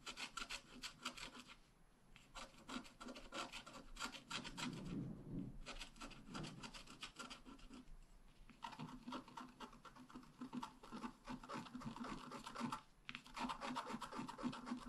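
A wooden stylus scratches fine detail lines on the bicycle frame of a flat black wax-coated scratch art card. Quick, dry rasping strokes come in bursts, with short pauses between them. The sound stays soft and gritty throughout, with a bright, papery scrape on top.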